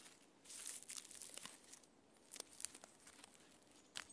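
Both hands scratch the rough bark of a standing tree trunk with red-painted fingernails, making dry, bright, crackling scrapes. The quiet scratching comes in bursts with a brief pause near the middle and a few sharper clicks toward the end.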